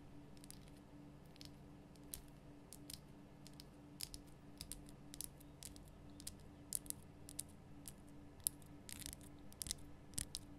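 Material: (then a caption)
Rock salt. Long nails tap the sides of a large, rough, glowing pink Himalayan rock salt lamp, a solid salt block. Many quiet, sharp, bright clicks and crunchy ticks come at an irregular pace over a steady low hum. Each tap dies away almost at once.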